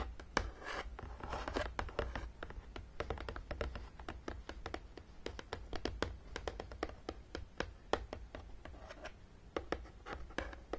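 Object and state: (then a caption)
Cardboard game box. Long nails tap and scratch along the top of a long, printed, hollow cardboard Battleship game box that is closed. Dozens of quick, dry taps with very short ring come in irregular bursts, mixed with soft scraping swishes, over a steady low hum.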